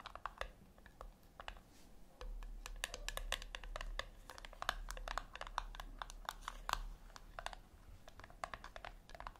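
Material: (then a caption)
Metal. Long nails tap quickly on the top lid of a flat, round brushed-metal tin, likely hollow, resting on a white cloth. The taps are short, dry clicks with almost no ring, coming in an irregular rapid stream. A faint low hum rises under them through the middle of the clip.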